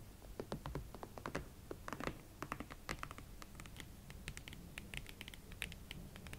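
A pair of hot pink Valentino Club Platform leather boots stands side by side on a table while long nails tap across the elastic side panels, shafts and platform fronts. Many quick, dry, bright clicks and light scratches patter irregularly with no ring-out, over a steady low hum.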